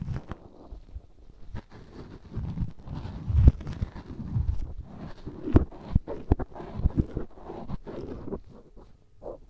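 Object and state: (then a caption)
Cotton swab rubbing in a silicone ear. A black cotton swab held in the fingertips rubs inside the ear canal of a life-size white silicone ear used as a binaural microphone, solid and soft rubbery. It makes close, muffled low scraping and rustling with dull thumps and short sharp crackles, building into denser scratchy bursts through the middle.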